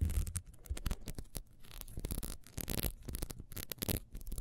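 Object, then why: Ribbed wax beehive candle. Long nails scratch quickly along the ridges of a small, solid, ribbed wax beehive candle held in the hand. The sound is a rapid run of dry, raspy scraping bursts with bright crackle over low, muffled thumps from handling.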